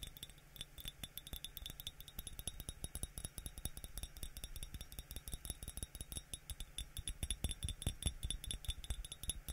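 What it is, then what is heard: Ceramic mug tapped. A yellow glazed ceramic coffee mug with a white interior, hollow and nearly empty, is held in one hand and tapped rapidly on its outer wall with the fingertips of the other hand, with a spray bottle held nearby. The many quick, dense taps give short, dry knocks with a low body and faint bright clinks, running continuously throughout.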